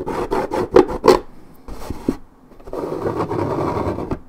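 Long red nails scratch deeply across a hollow 1.75 L coated paperboard orange juice carton, its print peeling. Quick rasping strokes with two louder scrapes come first, then a quiet pause before a longer, steadier stretch of dry, papery rubbing. The sound is mostly midrange with a faint hiss above and a dull, hollow body.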